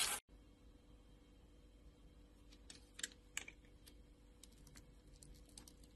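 A hand with long nails holds a solid, translucent orange glycerin soap bar scored into a grid and scrapes it with a utility knife blade, breaking off crisp small cubes. After a brief loud burst at the start, quiet, bright ticking and scraping clicks follow, with two sharper snaps near the middle.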